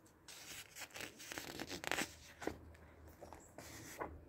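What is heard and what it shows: A large open softcover book with glossy printed paper pages lies on a dark table while a flat palm and fingertips rub across the pages, then a page is turned. Bright, papery swishes and crinkly rubbing rise and fall, peaking in a loud rustling flurry near the middle. A crisp paper flick follows, then softer brushing strokes.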